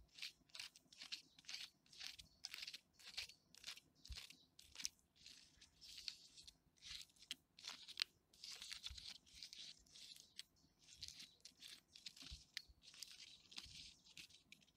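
Fingernails scratch and fingertips rub the ridges of a large, solid tree trunk with thick, furrowed bark. The result is a quiet run of dry, crunchy, crinkly scratching bursts, bright and papery with almost no low end.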